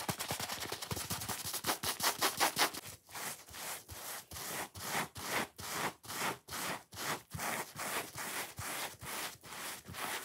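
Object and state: Foam sponge being scratched.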